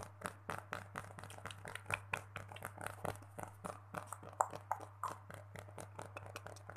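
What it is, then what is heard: Fabric mini pillow. Fingertips and short nails scratch and rub the printed cotton-like fabric cover of a small soft stuffed mini pillow with a pink cartoon and floral print, held close. The result is a quiet, rapid series of short, dry scratching taps and rustles over a steady low hum.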